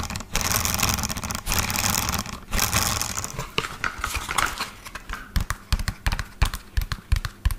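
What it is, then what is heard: Plastic toy dump truck. Fingernails tap fast on the underside of an upside-down, lime-green hollow plastic toy dump truck with black plastic wheels. For the first three and a half seconds the tapping blurs into a dense, scratchy rattle. It then breaks into separate quick, clicky taps, each with a hollow low thump and a very short ring.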